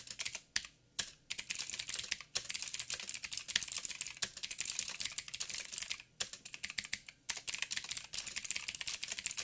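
Fingertips of both hands type continuously on a backlit mechanical keyboard with black plastic keycaps on a silver frame and a hollow housing. The dense, bright, clicky taps are sharp with almost no ring and little low end. The typing comes in quick bursts broken by a few brief pauses.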